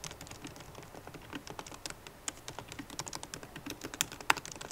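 Fast typing with long nails and fingertips on a MacBook Pro keyboard with plastic keycaps in an aluminum body. A quick, uneven stream of short, bright clicking taps is heard, with a few sharper, louder taps near the end.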